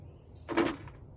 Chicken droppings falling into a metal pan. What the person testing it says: it sounds like stone, like little rocks, because all the moisture, or a lot of the moisture, has been sucked out of it by the sand